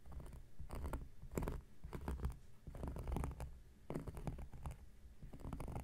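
A knife blade scratches across a large, round, flat coaster of solid cork lying on a surface. The strokes come in repeated bursts, producing a dull, rough, low-heavy scraping texture with brighter streaky edges.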